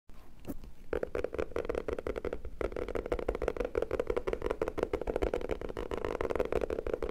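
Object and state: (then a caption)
Hardcover notebook tapped. Fingertips and short nails tap quickly on the cover of a black hardcover notebook or book with an anime picture on it, held upright in both hands. The result is a rapid, continuous stream of dry, dull taps centered in the low midrange, with almost no ring.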